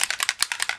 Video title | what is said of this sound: Distress Spray Stain by Tim Holtz | the metallics have a little ball inside. Now you can hear it when I shake it up.